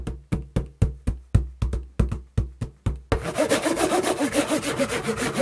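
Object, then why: Corrugated cardboard box. Hands tap a held-up, partly torn, hollow corrugated cardboard shipping box with an arrow logo in a steady series of separate, deep, hollow knocks. After about three seconds they switch to rapid, continuous scratching and rubbing across its surface, giving a dense rasping texture.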